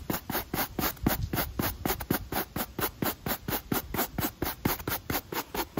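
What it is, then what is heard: Rubber shoe sole scrubbed with a brush. A stiff pale-bristle brush held in the fingers scrubs back and forth across a black textured rubber sneaker outsole. It makes a quick, fairly steady run of scratchy rubbing strokes, each a short burst of bright bristle hiss over a soft low body.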